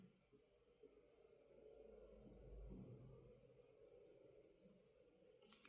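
A non-lubed plastic Kailh Choc mechanical keyboard switch is shaken by hand. It gives a fast, irregular rattle of tiny high-pitched clicks over a low background hum. The rattle comes from the switch not being lubed.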